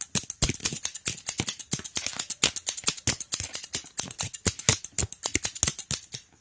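A light-brown solid wooden hair comb, hand-sized with long teeth, is held in one hand while the fingertips of the other hand scratch and flick along its teeth. The result is a rapid, irregular run of short, bright clicks and ticks with almost no ring, each one dying away at once.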